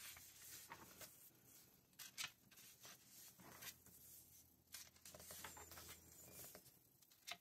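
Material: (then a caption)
Glossy paper. Fingertips turn and brush the glossy paper pages of a thick November 2024 Vogue magazine held open on a red tablecloth. Quiet, bright paper flips and crisp rustles come in short bursts over a soft, steady hiss.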